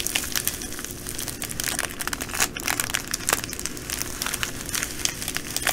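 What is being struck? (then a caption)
Plastic bag of small glass beads. Long dark nails and fingertips press, scratch and crinkle a clear plastic bag full of small green metallic glass bugle beads lying flat on a wooden table. The result is a steady stream of bright, crisp crinkling and rattling clicks, with sharper scratchy bursts over a faint low hum.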